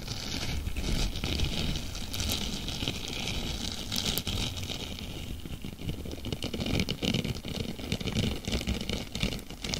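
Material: Plastic.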